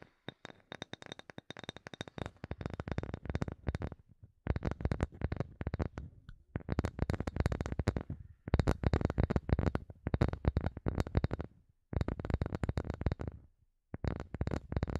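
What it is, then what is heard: Bamboo wood block tapped with fingernails. Long nails tap rapidly on a solid, light-colored bamboo wood block about palm size, making dense bursts of short, dry clicks with a low thud in each tap. The tapping comes in rhythmic runs separated by brief pauses, with each hit dying away almost instantly.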